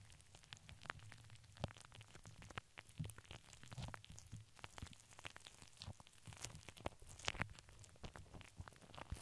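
Long nails scratch and tap across a hollow steel wire-mesh microphone head with both hands. The result is a dense, quiet stream of quick crackly clicks and scratchy rasps with bright, sizzling edges over a low, steady hum. A few taps stand out sharper and louder than the rest.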